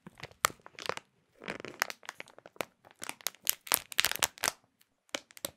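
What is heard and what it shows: Both hands crumple and crinkle a clear printed plastic bag holding a small food item. Bright, sharp crackles come in irregular bursts with brief silent gaps, and each snap dies away instantly with almost no low end.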